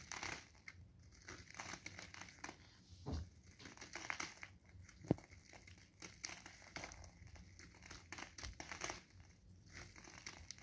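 A solid blue bar of soap, held in gloved hands, is shaved continuously with a craft knife blade. The blade gives a quiet, steady run of crinkly scratching and scraping, with dense crackling bursts spread from low to bright tones and a single sharper snap about halfway through.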